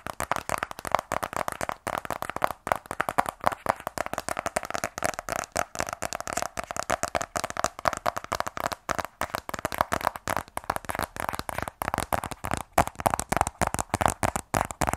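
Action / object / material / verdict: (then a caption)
tap / small rigid cardboard box tapped with fingernails / cardboard / none. A closed, small, rigid black cardboard iPhone 12 Pro box is held in both hands and tapped with long nails on its top and sides. Rapid, continuous taps produce sharp, dry, hollow clicks centered in the midrange, each dying away almost instantly.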